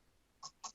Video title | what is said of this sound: La PRUSA MINI est LÀ ! Déballage et Test du nouveau tour de force de Prusa Printers. | ça sonne bien, c'est déjà bien tendu.